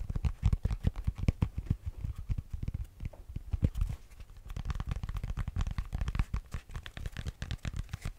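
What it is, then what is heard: Foam yoga block. A solid grey EVA foam yoga block, about the size of a brick, is tapped and knocked with fingers and nails in quick, uneven bursts. Each hit lands as a dull, deep, padded thud that dies away almost at once, with almost no bright edge.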